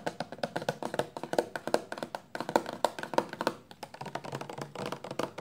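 A 400 mL clear plastic shampoo bottle, full of amber liquid and held in both hands, is tapped quickly with long nails and fingertips. About 35 light, hollow taps follow in fast, uneven bursts, each with a mid-pitched knock near 550 Hz and a very short ring.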